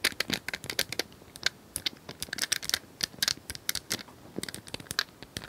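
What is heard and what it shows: Long nails tap rapidly on a small hand-held plastic cylindrical puzzle toy with colored square tiles, likely hollow, held in both hands. The result is a quick, uneven run of dry, bright clicks and ticks that die away almost instantly, with very little low end.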